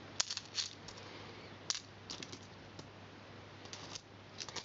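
Small solid copper and silver coins are picked from the carpet and dropped one by one into a cupped palm, each landing with a short, bright metallic clink against the coins already held. The clinks come in irregular bursts over a quiet, steady low hum.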